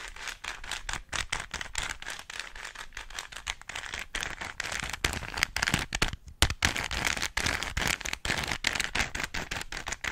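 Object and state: Plastic puzzle cube being turned.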